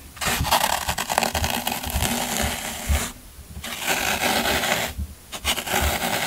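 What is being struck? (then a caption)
Green floral foam block scraped with a metal tool. A metal scraper tool digs and scrapes into the end of a solid green floral foam brick, giving dense, crunchy, broadband scratching with bright, gritty texture. The scraping runs in bursts, with brief quieter pauses around the 3-second and 5-second marks before resuming.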